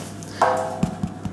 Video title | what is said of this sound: Soda Bread How to Make simple & quick bread recipe | tap it and if it'ss a hollow sound then it's cooked otherwise you cook it a little bit longer